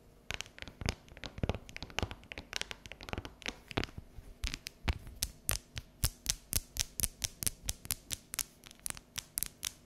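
Long neon natural nails tap and scratch the top and edge of a solid, unwrapped bar of dark chocolate, partly lifted off the counter. Dense, scratchy clicks come first, then settle into a steady run of crisp, bright, dry taps with almost no ring.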